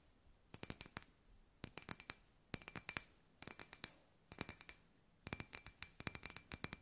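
A hand-sized, hollow, clear glass ball lamp with LED fairy-light wire inside is held in both hands and tapped with long grey nails. Quick bursts of sharp, bright clicks come in several rapid runs, each with a faint glassy ping that dies away almost at once.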